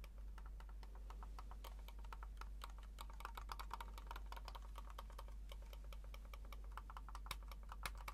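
A small black plastic wireless mouse is held in the hands while the fingertips click its buttons repeatedly. The result is a quiet, steady stream of short, crisp plastic clicks with bright edges over a constant low hum.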